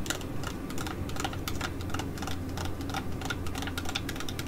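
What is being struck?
Laminated plastic foil sheet mask pouch.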